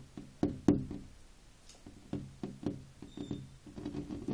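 Fingertips and short nails tap and knock on a large flat glass window pane covered with a ribbed decorative plastic sticker film. About eight dull, hollow knocks land at an uneven pace, with a low-mid tone and almost no ring, each dying away within a fraction of a second.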